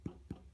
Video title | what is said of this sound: Cooks and Books #2—Dinner Rolls | it has a sort of hollow sound